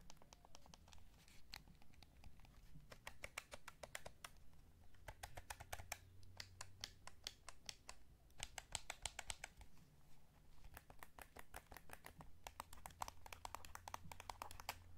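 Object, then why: Hollow plastic game controller. A hollow light blue plastic PS5 DualSense gamepad is held in both hands while fingertips tap the shell and press its buttons and triggers. The result is bursts of quick, dry, clicky taps with bright edges, over a steady low hum.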